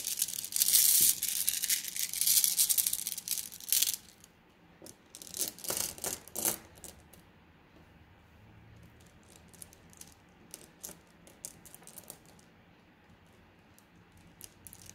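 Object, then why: Flat glass gems in a plastic mesh bag. A plastic mesh bag of flat blue glass gems is first squeezed, giving a dense, bright clinking rattle, then laid flat on a table and scratched with fingernails. The scratching brings quieter bursts of crisp, high ticks and scrapes that thin out toward the end.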